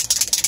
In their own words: there's like a little rattle ball in it I'm gonna shake it up